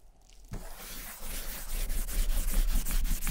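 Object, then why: Leather satchel bag. A gloved hand holds a cotton ball in metal tweezers and rubs dye remover over the surface of a large, hollow German vintage leather satchel. After a near-silent start, a steady, rhythmic scraping rub sets in and grows louder over the strokes, with a dull low rumble beneath a soft brushing hiss.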